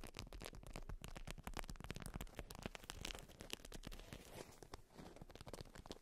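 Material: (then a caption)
Waxed fabric. A polka-dot beeswax-coated fabric wrap, rolled around a cylindrical bundle, is tapped with long white nail tips and scratched. The result is a quiet, continuous stream of rapid, dry, crinkly taps and scratches that are weighted toward the low end, with brief bright crackles and no ringing after each contact.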